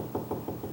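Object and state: Solid wooden stile in a hollow-core door.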